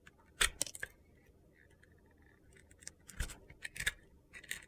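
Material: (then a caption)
Soap. A utility knife cuts and scrapes the turquoise, crunchy sugar-glitter crust on a solid white soap bar. Short, bright, gritty crackles and crunches come in separate bursts with quiet pauses between them. Each one dies away almost at once.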